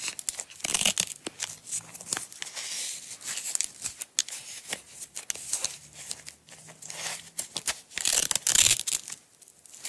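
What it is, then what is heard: Nylon velcro strap being peeled. Long acrylic nails peel and pull a small green nylon velcro strap away from its partly unwound roll. Bright, crackly ripping comes in repeated bursts of varying strength, with the loudest tears near the start and close to the end. There is almost no low end, and each rip cuts off quickly with little ring.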